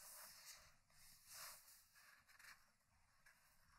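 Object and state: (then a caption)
Hardcover paper book, pages turning. Fingers turn the pages of a thick hardcover paper book lying open on a wooden table, producing soft, bright paper flips and rubs. Three gentle swells of rustling rise and fade over a quiet, hissy background with little low end.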